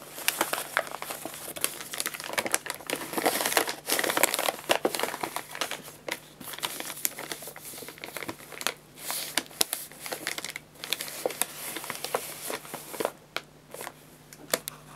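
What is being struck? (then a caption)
Paper pet food bag. An empty paper guinea pig food bag, held upright, is crinkled and shaken by hand. Dense, bright crinkling and crackling runs through the whole clip, surging and easing with brief quieter pauses between bursts.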